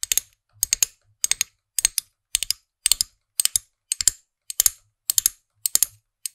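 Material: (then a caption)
Plastic. Long nails tap and click on the small hard plastic character head of a plastic figurine-topped pen toy, atop its plastic stem, close to the microphone. Quick clusters of sharp, bright, dry clicks repeat at a steady rhythm, about twelve bursts in all, each dying away almost instantly with no ring.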